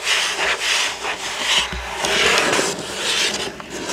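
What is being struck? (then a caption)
Cardboard box. Fingertips and nails scratch across the astronaut image printed on a hollow cardboard building-block box lying flat on a table. The result is a steady, dry, raspy scratching that is mostly bright and high, swelling and easing in strokes with faint low thumps from the hollow box.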